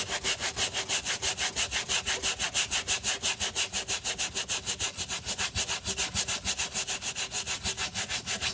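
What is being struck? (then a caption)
Rubber sneaker sole scrubbed with a stiff bristle brush. The wet, soap-foamed rubber sole edge of a white leather Moncler Alizee sneaker, held in gloved hands, is scrubbed back and forth with a wooden-handled stiff bristle brush. About 35 quick, even strokes give a steady, bright, scratchy swish, with almost no low end. Each stroke ends sharply.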